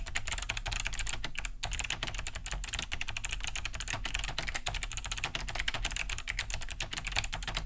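Both hands type fast with their fingertips on a large beige Cherry G80-3000 mechanical keyboard. It has a hollow plastic case and thick plastic keycaps and sits on a wooden desk. The steady stream of clicky, bright key-switch taps has a hollow low thud under each press, and every tap stops short with no ring.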